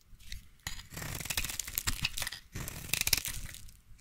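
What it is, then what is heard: Bar soap being shaved with a blade. A utility knife blade scrapes and shaves a solid, hand-sized light blue bar of soap into curls. Two long passes of crisp, bright scraping are heard, full of fine crackling ticks and short high clicks, with a brief pause between them.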